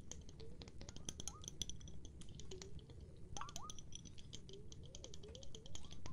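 Fingers tap quickly and irregularly on a glass of water for ASMR, making a dense patter of short, bright clicks over a steady low rumble. Between the taps come brief tones that slide up and down in pitch.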